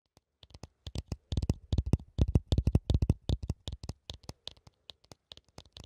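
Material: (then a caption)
Plastic. Fingertips with red-painted nails tap and scratch along the rim and spout of a small translucent hollow plastic funnel, held in both hands right in front of the microphone. The result is a quick, irregular run of short, dry taps, each with a deep hollow thump and a faint bright click on top, dying away almost instantly. The taps cluster densely in the middle and thin out toward the end.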